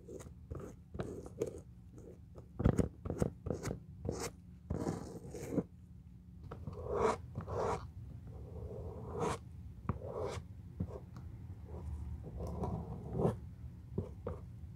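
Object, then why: Leather shoe sole brushed with a bristle brush. A bristle glue brush is rubbed in strokes across the solid brown leather outsole of a shoe resting on a cardboard box. The result is a series of soft, dry, scratchy brushing swipes. Each stroke is short and crisp over a low, steady hum.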